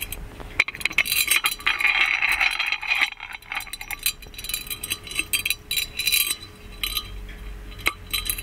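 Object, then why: Gold-plated metal lamp with chained lid. A gold-plated metal magic lamp has its chained lid lifted, lowered and clinked onto its hollow body. Many bright, short metallic clinks and rattles are heard, some in quick clusters, along with stretches of scratchy high-pitched rubbing over a faint low hum.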